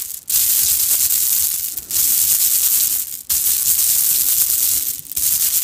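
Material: Plastic.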